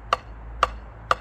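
A piece of MDF board is knocked three times, each knock a short, dull tap with very little ring. It demonstrates MDF's natural frequency, a low, heavy tone, for comparison with a larger MDF board.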